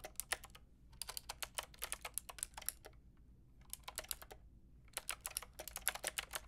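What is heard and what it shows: A white and pink Lofree mechanical keyboard with round plastic keycaps is typed on with long painted nails and fingertips. Four bursts of quick, bright, clicky taps are separated by short pauses, and each tap stops almost instantly over a faint low hum.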